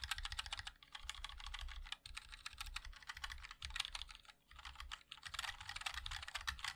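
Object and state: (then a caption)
Mechanical keyboard being typed on. A 60% mechanical keyboard with a black aluminium case, white and black ABS plastic keycaps and linear switches is typed on continuously with the fingertips of both hands. Rapid, dense clicky taps run throughout, crisp and bright with a soft low thump beneath, in bursts separated by brief pauses near 2, 4.5 and 5 seconds.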